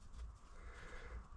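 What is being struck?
Nothing is struck.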